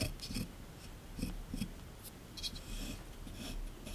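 A small chisel tool scratches and scrapes a solid plaster block sitting in a tray, part of a dinosaur excavation kit. Short, uneven bursts of bright, gritty scraping sit over a steady low rumble, each stroke dying away quickly.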